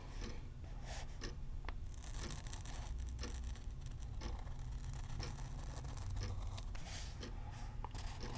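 An orange fountain pen nib scratches across a thin paper page of an open softcover word-seek puzzle book while circling a word. A steady, quiet, scratchy rustle plays throughout, with short bright scratch strokes over a constant low rumble.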